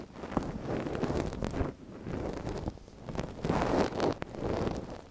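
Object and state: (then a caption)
Silicone dummy ear scratched with a wooden pick. A gloved hand scratches inside the canal of a small, hollow white silicone dummy ear on a binaural microphone with a thin wooden ear pick. It makes close, muffled rustling and scraping that swells and fades in several waves, mostly low and midrange with little bright content, and a few sharp clicks cut through.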